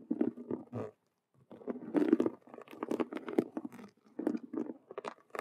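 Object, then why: Faux leather cube-shaped handbag. Long nails on both hands scratch fast across a hollow faux leather Rubik's cube handbag with stitched vinyl squares. Quick, dry, crunchy scratching bursts sit mostly in the low-mid range, with a short silent pause near the one-second mark before the scratching resumes in dense, uneven flurries.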